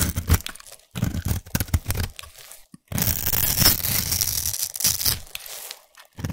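A solid white bar of soap held in the hand is scraped with a small black abrasive blade tool, shaving off crumbly white flakes. Short crunchy, tearing scrapes come in bursts, with a long bright, hissy scrape in the middle over a low, dull body.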